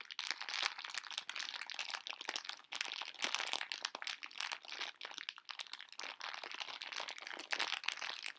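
A full pink plastic-film candy bag of conversation hearts is held upright and crinkled and scratched with long nails. Dense, bright crackling rustles run almost continuously through the clip, with no low end.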